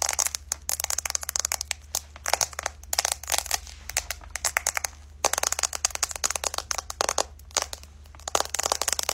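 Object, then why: Smartphone with glass back and metal frame. A white iPhone with a glass back and metal frame is held in both hands and tapped and scratched with long light-colored nails on the back and along the edge. Dense bursts of quick, bright clicks and scratchy ticks come in uneven clusters with very short decay, over a faint low hum.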